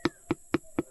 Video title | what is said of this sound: NAGHIHINOGAN NA ANG MGA LANGKA🌾 SAGKALAT ANG PULOT NG STENLESS BEE SA NIYOGAN NI TATAY 🌾 | hindi pa ari, iba ang tunog. Tigas pa.